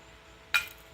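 A cast metal impeller is knocked once, giving a single bright metallic clink with a high ring near 2.4 kHz that fades quickly. It sounds metallic enough and is judged acceptable.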